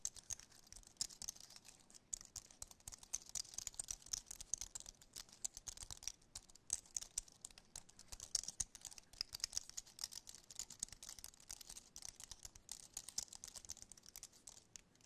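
A compact, thin, mostly solid white Apple-style wireless keyboard with an aluminum base and plastic keys is held up in both hands while fingertips and nails tap and scratch across its keys and frame. The result is a quiet, steady stream of rapid, sharp, bright clicks and light scratchy patter with almost no low end and very short decay.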